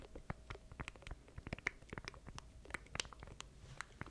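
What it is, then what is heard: Plastic stream deck controller. Fingertips tap and scratch across the button keys of a small black plastic stream deck controller held in both hands close to a microphone. A quick, irregular run of short, dry clicks and taps, some bright, sits over soft scratching and a faint low rumble. Each tap stops almost instantly, with no ring.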